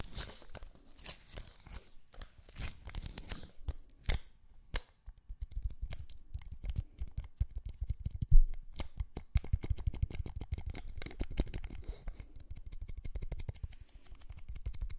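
An adhesive paper lint roller is held horizontally while fingertips and long nails tap on its sticky white paper roll and peel off it. The result is a quick run of sticky peeling and tearing crackles over soft, low thumps, starting sparse and becoming dense and rapid after the midpoint.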